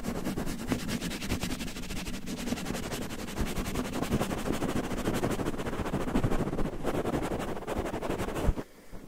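Fingertips quickly scratch and rub a red cotton terry towel draped over a microphone, making a dense, continuous, muffled rustling with a heavy low rumble. The scratching runs steadily for about eight and a half seconds, then drops away to near silence.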